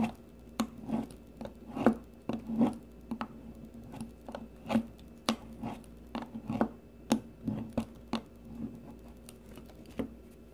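A solid green bar of soap, held in the fingers, is shaved with the metal blade of a blue peeler, leaving shavings around it. About seventeen short, dry scraping strokes are heard, with a soft low-mid tone and a quick fade after each one.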